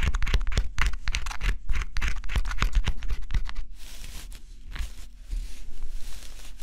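A small tool scratches the black coating off a flat, assembled cardboard scratch-off jigsaw puzzle with a forest and bear image, held in the fingers and worked in quick strokes. Rapid, bright, dry scratching strokes come in a fast, uneven rhythm for about the first four seconds, then soften into slower, breathier scraping passes.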